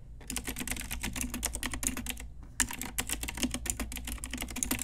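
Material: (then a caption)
Plastic. Rapid typing on a pink Ajazz retro typewriter-style mechanical keyboard with round plastic keycaps and hollow key switches, struck with long nails and fingertips. Dense, bright clacky key presses run continuously with a brief pause just before the midpoint, over a steady low hum.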